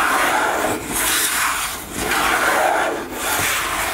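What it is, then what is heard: Plastic squeeze tube. Long nails scratch a white-green plastic cosmetic squeeze tube lying on a table. The result is a steady, dry rasping scrape, mostly in the mid-to-high range, that briefly dips between strokes.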